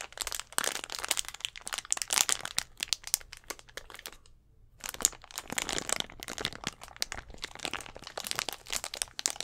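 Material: Plastic.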